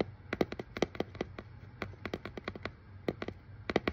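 Fingernails tap quickly over the paper shipping label on a hollow, brown corrugated cardboard box. About twenty short, dry, crisp clicks come in an uneven rhythm, each with a hollow papery knock that dies away almost instantly over a faint low hum.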